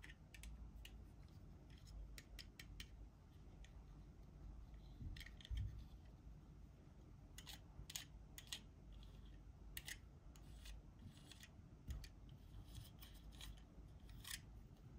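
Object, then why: Small plastic toy cart. A small, hollow teal plastic toy cart is held in both hands, turned over and handled with fingertips and nails. Sharp, bright clicks and light scratching sounds occur irregularly throughout. A steady low rumble runs underneath.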